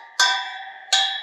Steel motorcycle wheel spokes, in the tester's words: All the spokes are nice and tight. You can hear them all ring when I tap them.